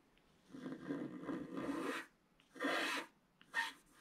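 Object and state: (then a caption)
Wax-coated scratch art paper. A wooden stylus scrapes the coating at the lower left of a flat page of wax-coated scratch art paper. Three dry, raspy scraping strokes are heard: a long, uneven one lasting about a second and a half, then two shorter bursts, each with a bright, hissy edge and quiet pauses between them.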